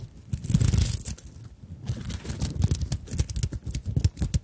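A small fabric handbag covered in sequins and beads has its sequin flap scratched and rubbed by long nails. The result is a dense run of quick, dry scratching and rustling clicks, heavy in low thumps with a thin bright sequin rattle on top. The scratching comes in uneven bursts, with a brief lull before it picks up again.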